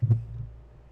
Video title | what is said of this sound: Two Dudes with Dew Podcast S2 Ep.8 : Stupid Things that work | knock on the middle you can hear the metal knocking